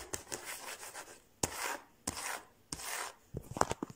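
Fingertips and short nails tap and scratch along the solid flat top of a large, glossy, varnished wooden dining table with visible grain. Sharp, dry taps start long, bright rasping scratches, and a quick flurry of light taps and clicks closes the clip. The sound dies away almost instantly with no ring.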